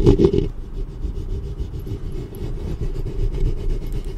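Long nails and fingertips rub and scratch the metal mesh grille head of a black studio microphone. A louder opening burst of scratching gives way to a steady, dense rasping rumble that sits mostly in the low end, with almost nothing bright on top.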